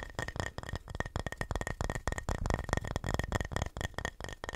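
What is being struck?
Flat painted wooden plaque.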